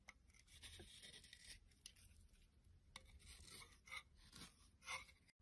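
A solid white bar of soap held in the hand is carved and shaved with a utility knife blade over a pile of soap flakes until it is a thin sliver. Dry, bright rasping scrapes and shaving strokes come in irregular bursts, with a few sharper, louder cuts standing out near the end.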